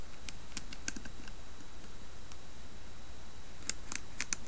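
Long nails tap and scratch the carved side of a round, hollow carved wooden lidded box held in both hands. Quiet, crisp clicks and light scratches with bright edges come in loose clusters, most densely toward the end, over a steady low hum.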